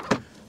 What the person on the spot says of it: it sounds like plastic and it feels like plastic and it looks like plastic